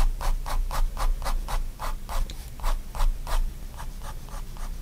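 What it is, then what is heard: Pen scratching on sketchbook paper. A fine-tip pigment liner pen draws continuous line strokes on a spiral-bound white paper sketchbook lying flat on a wooden desk. Quick, dry, bright scratches repeat at a brisk, uneven rhythm of roughly three to four per second, each fading fast over a low background rumble.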